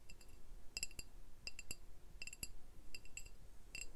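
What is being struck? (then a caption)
Glass beer bottle. Glass beer bottles are tapped in quick clusters, giving short, bright clinks with a high ringing tone that dies away quickly. The taps come in irregular groups of two to four across the clip over a quiet low background hum.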